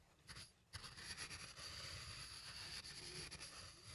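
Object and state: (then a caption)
Wooden mortar and pestle being ground. A wooden pestle, gripped by plastic hands, is ground round inside a small, hollow, apparently empty turned wooden mortar, rubbing wood on wood. It makes a dry, bright scraping with a steady high whine over a low rumble. After a brief lull near the start, the grinding runs continuously to the end.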